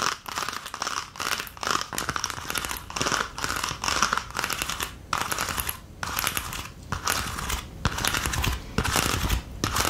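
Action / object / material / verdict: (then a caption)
tap / plastic ice cube tray / plastic / none. Long nails rapidly tap and scratch the domed cavities of an empty green plastic ice cube tray held up in the air. The result is a dense, crinkly stream of bright clicks and scraping in uneven bursts, broken by brief pauses, with each tap dying away quickly.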